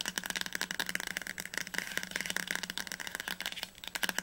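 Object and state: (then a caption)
Hardcover book spine. Fingertips and nails tap fast on the glossy spine of a teal hardcover novel, "Das Labyrinth erwacht," held upright, and the book sounds solid. The taps come as a rapid, continuous run of dry, bright clicks that die away almost instantly, with a faint steady tone around 1.6 kHz underneath.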